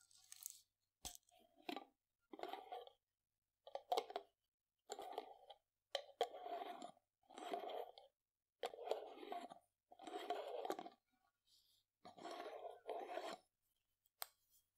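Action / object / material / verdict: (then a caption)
tap / glass jar of dried lentils with a metal screw lid / glass, metal / none. A hand grips a glass jar with a metal screw lid, full of dried green lentils, and taps the lid with fingertips and nails. Short bursts of dry, rattling taps repeat with pauses between them, centered in a mid-range around 700 Hz with bright clicky edges. Each tap dies away almost instantly with no ring.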